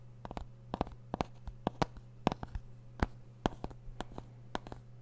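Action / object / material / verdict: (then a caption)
tap / plastic CD jewel case / plastic / none. Fingertips and nails tap and scratch a small, hollow plastic CD jewel case with a printed Green Day cover, held close to the microphone. A rapid, irregular series of short, dry clicks rings out over a steady low hum, each tap dying away almost instantly.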